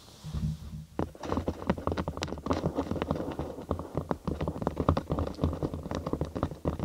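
A thin cork sheet, curved into a large half-tube over a binaural microphone and hollow underneath, is tapped and scratched with long acrylic nails. After a quiet, low opening of about a second, rapid, dense, hollow taps and short scratches follow continuously. The sound is deep and bassy, with each tap dying away almost at once.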